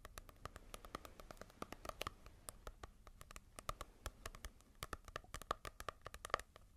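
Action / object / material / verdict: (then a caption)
tap / paperback book with glossy card cover / paper / none. A small, solid paperback manga volume with a glossy cover is tapped and scratched with long nails. Rapid, dry clicks and light scratching sounds run throughout at a quiet level, each tap dying away almost instantly with a faint ring around 1.2 kHz.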